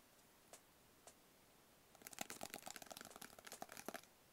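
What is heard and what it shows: A small, hollow, rigid black cardboard box is held in the hands and tapped with fingertips and nails. Two soft, separate taps are followed by a quick, dense flurry of crisp, clicky taps with a bright edge and almost no ring. The sound stays quiet and dry throughout.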